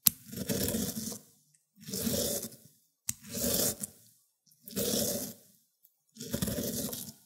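A cucumber is rubbed across a white ceramic grater plate in five separate strokes, each making a wet, scraping rasp with a bright, hissy top and a fuller low-mid body. Short silences fall between the strokes as the juicy pulp drips.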